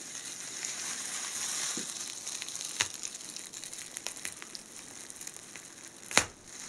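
A hand-length blue tinsel garland, made of thin metallized plastic foil strands twisted on a wire core, is squeezed, crumpled and rubbed between two hands in blue nitrile gloves above a white table scattered with loose cut strands. It gives a steady, bright, hissing crinkle with scattered sharp crackles, a clear snap near the 3-second mark and a louder crisp burst near the end.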